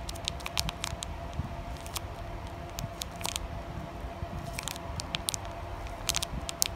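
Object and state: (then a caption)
Sealed plastic foil card pack. Long nails tap and scratch across the surface of a flat, sealed plastic foil Digimon Carddass EX-01 card pack. Sharp, crisp clicks and crackly scrapes land in quick, irregular bursts over a soft, steady low background.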